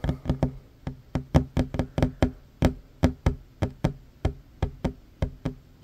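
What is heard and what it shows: Fingertips and short nails tap fast on a solid wooden tabletop, first with both hands and then with one hand. Twenty-one short, dry knocks are heard, each with a low, woody body around 140 Hz, a faint clicky edge, and almost no ring.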